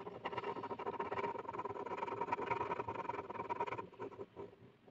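The tip of a blue plastic ballpoint pen is scribbled rapidly back and forth across a flat white sheet of paper resting on a hard surface. It makes a dense, dry scratching patter with a steady midrange tone near 1 kHz. The scratching stays busy for almost four seconds, then thins into quieter, sparser strokes.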